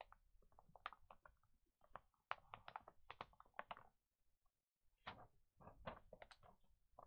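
Both flat hands and fingertips rub and press the pages of an open, thin paper children's pet magazine lying flat, then turn a page. The result is a quick run of soft, bright rustles and crinkles with a brief quiet gap in the middle.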